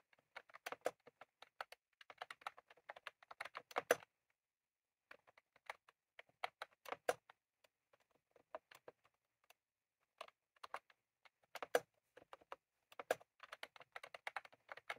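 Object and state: Plastic mechanical keyboard.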